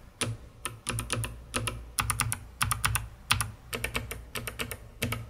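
A COX CK900 S2 full-size mechanical keyboard with white plastic keycaps and a hollow dark plastic case is typed on by fingertips with long red-painted nails, pressing the keys rhythmically. Quick, dry clacks come in uneven bursts and short runs, each with a bright click on top and a low, hollow thock underneath, and die away almost at once.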